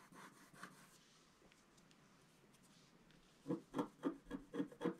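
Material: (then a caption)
Coated paper. A wooden stylus scratches across a flat, black-coated scratch-art card, making dry, raspy scraping strokes. A couple of light scratches come first, then a quiet pause, then six quick, evenly spaced strokes that each rasp briefly and stop dead.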